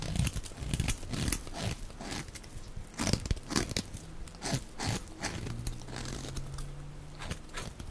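A box-cutter blade scrapes and shaves a solid, dry, rectangular light-blue bar of soap held in the hand, turning it into fluffy shavings. The clip is a run of quick, dry, crunchy and crinkly scraping strokes with bright, hissy edges over a heavier low body. A faint low steady hum sits under the strokes near the end.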